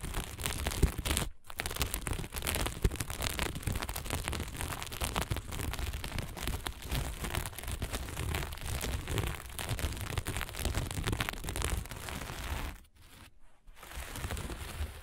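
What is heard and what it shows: A flat sheet of fabric covered in blue and dark sequins is scratched fast with the long nails of both hands and rubbed with a flat hand. The result is a dense, continuous crackling and rustling with a low rumble underneath, brief gaps near 1.3 seconds and around 13 seconds.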